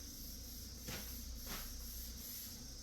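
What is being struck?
Nothing is struck.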